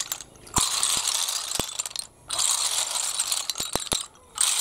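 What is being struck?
Small snail shells on concrete.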